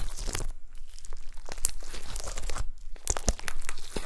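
Long pastel-nailed fingertips press and squish a folded mound of gold glitter slime with star confetti. The result is a dense run of soft, crunchy crackles and wet squelches, with most of the energy in a low, muffled range and a few brighter clicking snaps near the end.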